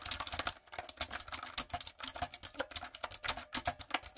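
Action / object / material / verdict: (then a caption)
tap / mechanical keyboard with plastic keycaps / plastic / none. Fingertips and long acrylic nails type on a light-up, typewriter-style mechanical keyboard with round plastic keycaps. About 28 quick, sharp clicks sound in an uneven rhythm. Each click is bright and dies away at once.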